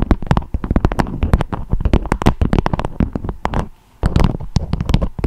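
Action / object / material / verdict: tap / beeswax-coated fabric wrap / waxed fabric / none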